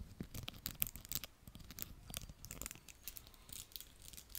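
Fingertips and nails scratch and strum across the dense stiff pins of a small round beige plastic hair brush held in both hands in front of a mic. The result is a quiet, continuous run of crackly scratching with bright, hissy bursts over soft low thumps, each stroke dying away almost instantly.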